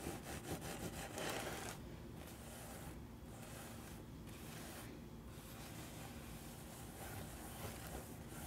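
Fingertips and nails scratch and rub the hollow crown of a wide-brimmed woven paper-straw hat held up close. Quick, bright scratching strokes in the first couple of seconds give way to a steady, softer dry rasping and rustling that continues to the end.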